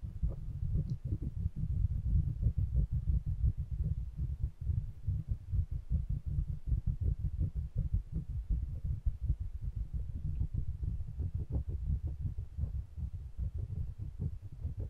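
Fingertips rub and tap the hollow metal bodies of two small pencil condenser microphones with metal mesh grilles, held in both hands, close to the grilles. The result is a steady stream of deep, muffled thumps and rubbing, rapid and irregular, almost entirely low in pitch with no bright ring.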